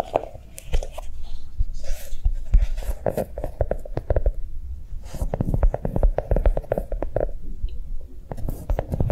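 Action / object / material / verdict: tap / notebook shaped like a chocolate bar / unknown / none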